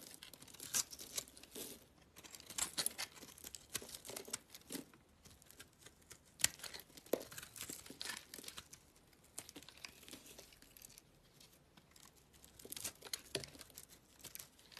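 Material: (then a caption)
Soap. A black utility knife blade scrapes crumbly shavings off a small solid orange soap bar held in the palm. The sound is quiet, dry, bright scratching and crinkling in uneven bursts of short crackles, with almost no low end.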